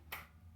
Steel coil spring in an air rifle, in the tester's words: just tapping it you can hear that spring